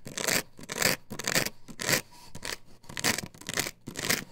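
Long nails scratch back and forth across the face of a plastic stencil template glued to a wooden board, which is lifted and held upright. Repeated bright, raspy scraping strokes come in uneven bursts with short gaps between them, each stopping quickly.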